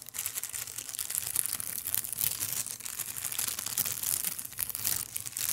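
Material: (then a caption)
Plastic. A long, thin, translucent clear plastic bag, empty, is crumpled and rubbed between fingers. A dense, continuous crinkling and crackling runs throughout, bright and high with almost no low end, swelling and easing slightly as the plastic is worked.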